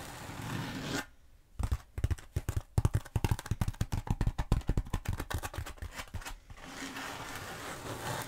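Long nails scratch down a long black bead foam roller held diagonally, producing a rapid series of dry, crackly scraping strokes with a low, thumpy body. A soft steady hiss comes before and after the strokes.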